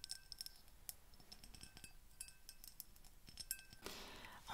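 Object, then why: Small glass perfume bottle tapped and scratched with fingernails. Long painted fingernails tap and scratch a small brown-tinted glass perfume bottle with an embossed pattern and a silver cap, held up in both hands. Quiet, rapid, bright clicks and clinks ring briefly over soft scratching. Near the end, a louder, broader rubbing scrape takes over.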